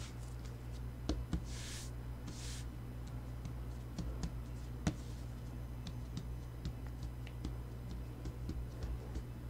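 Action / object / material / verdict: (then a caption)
tap / sheet of paper on a cutting mat / paper / none. Bare hands with short nails rub, brush and tap a single thin sheet of white printer paper, about A4, lying flat on a green cutting mat, using flat palms and fingertips. Light, sharp taps and ticks are scattered throughout, along with two soft, bright brushing swishes early on, all over a steady low hum.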